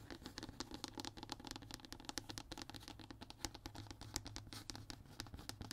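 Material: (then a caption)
Fiberboard. Fingertips and short nails scratch and tap across the surface of a flat, thin, brown hardboard (MDF) fiberboard sheet lying solid on a table. The result is a quick, steady stream of dry, bright ticks and scratchy strokes that stop dead with no ring, over a faint low hum.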